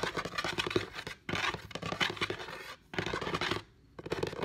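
Medium-length painted nails and fingertips scratch and tap across the top of a flat, solid wooden table, with a phone lying untouched at the side. Dense, bright scratching and quick, dry taps come in bursts broken by short pauses.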